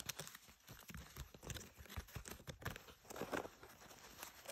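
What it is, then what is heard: Denim jeans scratched with nails. Long nails scratch the inner waistband of a pair of blue denim jeans lying flat, working near the label and the belt loops. A quiet, steady run of dry, rasping scratches and crinkly bursts follows, with brief fabric scrapes that stop almost instantly.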